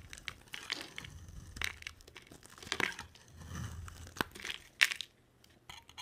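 A palm-sized bar of solid blue and white striped dry soap is carved with a box cutter blade. Quiet, bright, crisp crunching and crinkly scraping come in short bursts, with a few sharper cracks. The sound fades to near silence before ending in a few faint clicks.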